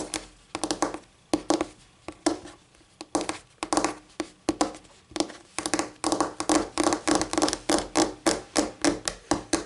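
Long painted nails tap with both hands on a flat, solid white laminate tabletop. They make quick, uneven bursts of sharp clicky ticks with a bright edge and a faint knock near 312 Hz. Each tap dies away almost at once, and the pattern becomes denser and steadier toward the end.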